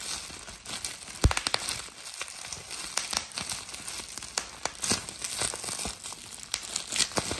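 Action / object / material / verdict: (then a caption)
scrape / plastic bubble wrap sheet / plastic / none. A hand-held sheet of clear plastic bubble wrap with air-filled bubbles is pressed with a thumb, popping the bubbles and crumpling the sheet. Many sharp, bright pops come irregularly over a steady crinkling hiss, each snapping off almost at once.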